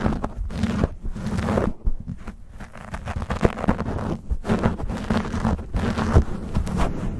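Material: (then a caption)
Foam. Fingertips and nails scratch and rub rapidly across a black foam windscreen on a silver condenser microphone. The result is a dense, close, crackling rustle with a heavy low rumble and little brightness. It continues almost unbroken, with brief dips near 1 and 2 seconds.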